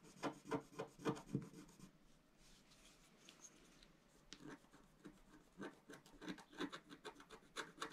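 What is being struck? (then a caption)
Scratch-art paper sheet scraped with a wooden stylus. A pointed wooden stylus held in the fingers scratches across a flat, A4-sized black-coated scratch-art sheet over rainbow foil lying on a table. Quick, dry rasping strokes come in a rapid burst, fade to near quiet for about two seconds, then resume as a steady series of short scratches.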